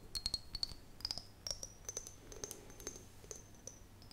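An empty, hollow, hand-sized clear glass mason jar with a metal screw lid is held in both hands and tapped and scratched on its side with long painted fingernails. The result is a quick, irregular run of light, sharp clicks with a faint high ringing tone that slowly rises in pitch, over soft scratching.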